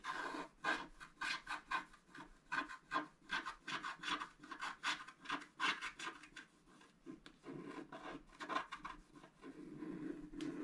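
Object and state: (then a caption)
Scratch-art card being scratched. A wooden stylus scratches hatching lines into a flat scratch-art card (black coating over colored foil) lying on a table, working on the right-hand tree. It makes quiet, dry, rasping scratches in quick rhythmic strokes, centered in the midrange with bright edges and almost no low end. Toward the end the strokes blur into a longer, steadier rubbing scrape.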